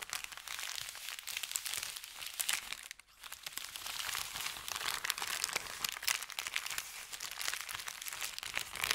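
Palms and fingertips rub and press a crumpled, empty, thin kraft paper bakery bag lying flat on felt. The result is dense, bright, continuous crinkling and crackling with almost no low end, broken only by a brief near-silent pause around the three-second mark before the crinkling resumes.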